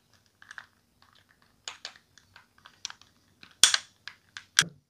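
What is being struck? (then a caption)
Plastic and resin dice dropped into a bowl. Plastic and resin tabletop role-playing dice are dropped into a bowl, giving a quick, irregular series of bright, clacky clicks. The clatter grows louder toward the end with two sharp cracks, each dying away almost at once.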